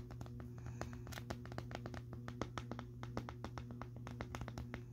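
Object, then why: Plastic vacuum dust bin. Fingertips tap and scratch the side of a clear plastic Bissell Helix vacuum dust canister on a purple base, packed full of dust and debris and sitting on carpet. Dozens of quick, light, dry taps and scratches ring over a steady low hum around 109 Hz, with a brief gap when the hand lifts away.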